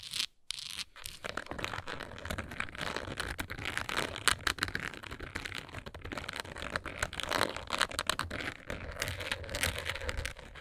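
Long nails scratch and tap the front and sides of a textured plastic Tums tablet bottle with a label, hollow and holding tablets. Dense, crackly scratching and quick dry taps run steadily with bright, hissy detail and almost no ring, after a brief pause near the start.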